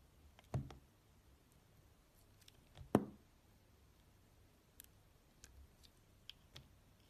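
A steel utility-knife blade slices and scrapes thin layers off a rectangular bar of solid translucent red glycerin soap with opaque pink cubes inside, held in one hand. Two louder, soft-edged cuts stand out, followed by several fainter, irregular scraping clicks in a quiet setting.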